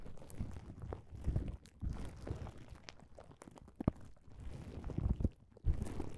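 Fingertips and palms rub and press across a flat plastic bubble wrap pouch, making soft, dull crinkling and scuffing sounds. Short pressing taps and rustles come in uneven bursts with brief quiet gaps, and the sound stays mostly low and muffled.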